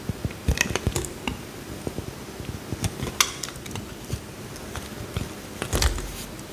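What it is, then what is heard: Soap bar carved with a knife. A small solid blue bar of soap, held in the hand, is carved and scraped with a metal utility knife blade, peeling off thin curls. A series of short, crisp scrapes and soft crackles with bright high edges sounds over a quiet low rumble, with the loudest strokes near the start and end.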